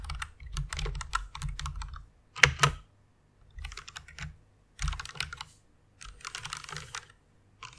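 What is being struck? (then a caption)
Plastic mechanical keyboard keys. Long fingernails type on the keys of a white plastic mechanical keyboard in short bursts separated by pauses. The keystrokes are quick, sharp clicks with bright high edges and a soft low thump. The two loudest strikes come near the middle.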